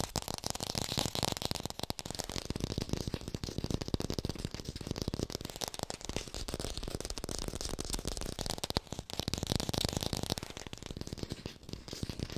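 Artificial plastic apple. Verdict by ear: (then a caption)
Fake. An artificial plastic red apple is tapped fast and recorded close up with a hi-fi mic. The result is a continuous stream of rapid, dry, rattling clicks with a low thump underneath, each tap dying away almost instantly.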